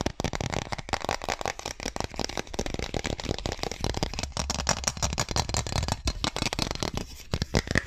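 A long, thin, solid, transparent plastic ruler is held upright while fingers rapidly tap it and scratch along its edge and markings close to the microphone. The result is a dense, fast stream of dry, crackly clicks and scratchy rasps, bright on top with a boomy low thump beneath, each tap dying away almost instantly.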